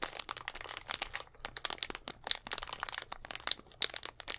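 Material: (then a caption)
Plastic. A hollow, clear plastic Gatorade bottle with a little blue liquid inside is squeezed and tapped with fingertips and nails right at the mic. It makes a dense run of bright, dry crinkles, crackles and sharp clicks, with almost no low end and no ring after each sound.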